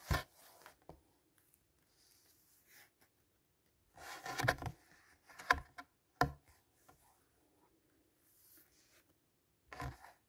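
A hand turns page after page of a large illustrated hardcover fairy-tale book with thick, glossy paper pages. Each turn gives a brief, crisp papery swish and flap in a quiet space, separated by near silence. The louder turns cluster in the middle of the clip.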